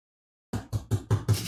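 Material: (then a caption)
Cardboard. Knocking on a cardboard box packed full of game manuals, waiting to be unboxed. After half a second of silence come five dull, low thuds with almost no ring, the muffled sound of a full box with something compact behind the cardboard.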